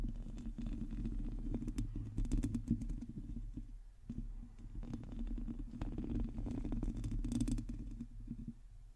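Long teal nails on both hands quickly scratch the hollow metal mesh grille of a black microphone. The result is a dense, continuous low rumbling scratch with a steady tone near 230 Hz and scattered brighter crackles, briefly easing around the four-second mark before resuming.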